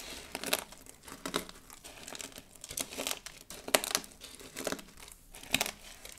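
Flat hands with long blue nails press down and rub over a heap of thin, brittle blue, pink and white dried soap shards on a dark table. The result is a series of dry, bright crackling crunches that come in quick uneven bursts, with almost no low end and no ring after each crunch.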